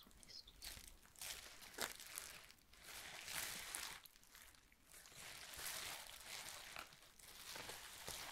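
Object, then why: Plastic bubble wrap sheet. A loose, crumpled sheet of clear plastic bubble wrap lying on a wooden table is pressed and rubbed with the fingertips and palm, producing bright, dry crinkling in overlapping waves. Nearby glass inkwells are not touched.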